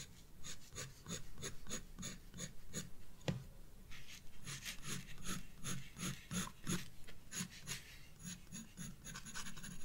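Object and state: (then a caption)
Pencil shading on a paper sketchbook page. A black graphite pencil scratches dense shading near the bulb on a page of a spiral paper sketchbook. Quick, irregular strokes follow each other at roughly three per second, each a short bright scratchy rasp over a soft low rumble. One sharper tick stands out around the middle.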